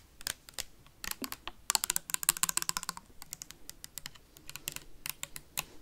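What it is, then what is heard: Plastic sanitizer bottle tapped with metal paperclips. Metal paperclips tap rapidly on a clear plastic sanitizer bottle with a white cap, held sideways near the mic. About 31 sharp, bright clicks come in irregular bursts, densest and loudest in the middle. Each click is dry and short, with almost no ring and little low end.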